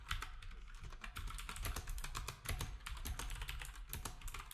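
Fingertips of both hands type quickly on a black, typewriter-style retro keyboard with round plastic keycaps resting on a desk. A steady stream of sharp plastic clicks and clacks runs throughout, each with a bright snap over a low thump, overlapping into a continuous rapid patter.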